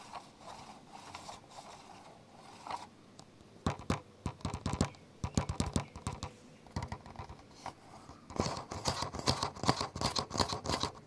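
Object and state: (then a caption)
Plastic camcorder body. Fingers scratch and tap the top handle of a black plastic camcorder resting on a bed. Soft, quiet scratching opens the clip, then irregular bursts of quick, dry taps and scrapes follow. Each sound is short and clicky with no ring, bright at the top and with some low body.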